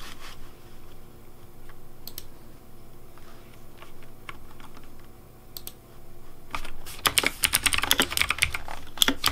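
Fingertips type on a pink Razer Deathadder V3 Pink plastic mechanical keyboard with hollow plastic keycaps. Scattered soft, sharp clicks give way after about six and a half seconds to a fast, dense run of bright, hollow plastic clacks over a faint steady low hum.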